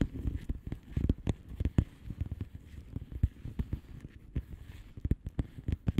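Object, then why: Plastic bubble wrap mailer envelope. A flat blue plastic bubble wrap mailer envelope with air-filled bubbles is tapped and scratched by the long manicured nails of both hands. The result is a quick, dense stream of soft, low, dull taps and short crackly scratches with no ring. Several louder clicks stand out against the steady patter.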